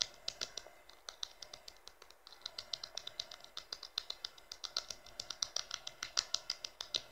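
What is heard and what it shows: The thin, hollow-backed glossy plastic rear cover of a blue Infinix smartphone lying face-down on fabric is rapidly tapped by fingertips and short nails. About 43 quick, dry, bright clicks land in an uneven rhythm, each stopping instantly with no ring and sitting high with almost no low end. The result is a quiet, crisp, keyboard-like patter.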